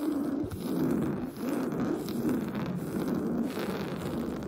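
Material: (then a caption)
Woven fabric. Short blue-painted fingernails scratch fast across a large, soft, stuffed beige woven-fabric sofa cushion. The result is a steady, dense rasping scratch, muffled and concentrated in the low mids with little brightness, and it dips only briefly between strokes.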